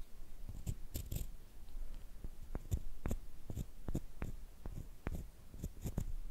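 Two small pieces of solid light wood, a short stick and a longer flat slat, are held in hands with long painted nails while one is scraped and rubbed along the other. The result is a quiet, steady wood-on-wood scratching made of short, dry strokes with low rumble and brief bright ticks, with no ring after each stroke.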